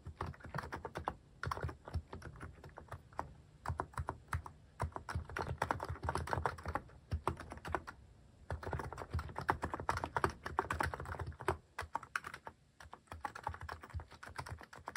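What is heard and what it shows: Fast fingertip typing on a mechanical keyboard fitted with plastic cat-shaped keycaps produces a dense, rapid stream of short clacking keystrokes with a low, rounded body. The typing comes in steady bursts with brief pauses near 1, 8 and 12 seconds.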